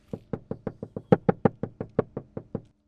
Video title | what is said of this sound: Jaguar F-Pace SVR Stealth Sound System & Custom Subwoofer Upgrade – Sound Test - Cambridge Car Audio | the noise and how solid this is now makes a huge difference